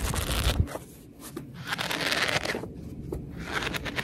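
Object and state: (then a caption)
Paperback book pages riffled and scratched. Long red nails rest on and scratch the fanned page edges of a paperback book as the paper pages are riffled. Bright, crackling paper rustle comes in waves, with soft low thumps at the start and quieter scratchy lulls between the bursts.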